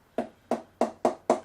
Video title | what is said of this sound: 2007-08 Gray-Nicolls Fusion 1000 - BANNED CARBON HANDLE! | as I get towards the splice you start to hear that sort of hollow sound